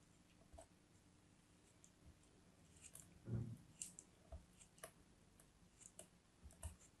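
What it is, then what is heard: Kinetic sand being cut. A solid, hand-held chunk of glittery purple kinetic sand is scraped and sliced with a metal craft knife blade, giving quiet, crisp clicks and soft gritty scrapes over a low, muffled rumble. A brief, fuller crunch lands midway, with short, bright ticks scattered throughout.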